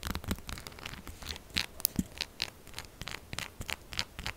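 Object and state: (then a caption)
Bar of soap scratched with nails. Long acrylic nails quickly scratch and tap a solid, textured pink soap bar resting on a table. The result is a quiet, continuous run of bright, crackly scratches broken by short, sharp taps that stop almost instantly, with little low end.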